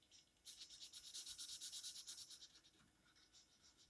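An orange felt-tip marker held in the fingers is scratched and rubbed across the page of an open paper coloring book lying flat on a table, in short coloring strokes. It gives a quiet, bright, hissy scratching in a steady rhythm, loudest in the middle and fading to lighter strokes toward the end.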